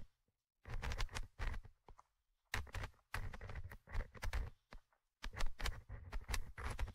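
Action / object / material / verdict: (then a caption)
scrape / metal mesh microphone grille of a handheld recorder / metal mesh / none. A thin orange stick scratches and taps the small metal mesh microphone grille of a Tascam handheld recorder. Irregular bursts of close, dry scrapes and taps are separated by short silent pauses. The sound is dominated by deep, boomy low-end thumps with faint bright crackles on top.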